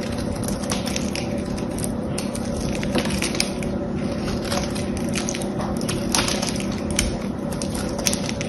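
A small knife blade scrapes and carves chips off a solid, hand-sized rectangular blue soap bar held in a hand with yellow-painted nails. Steady, dense crunching and crackling scrapes run throughout, with sharper bright ticks standing out now and then.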